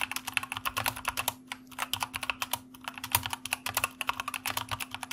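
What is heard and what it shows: Fingertips of both hands type on a white plastic mechanical computer keyboard, producing a quick, uneven run of sharp, bright clacks with very short decay. The typing pauses briefly twice, and a faint steady low hum sits underneath throughout.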